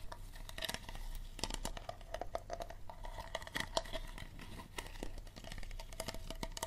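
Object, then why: Small thin plastic water bottle. Fingertips and nails scratch and squeeze the thin plastic of a small, empty, clear Dasani water bottle held on its side. The hollow bottle gives a dense run of crinkly clicks and scrapes with a faint ringing tone around 650 Hz. Each sound stops almost instantly over a steady low rumble.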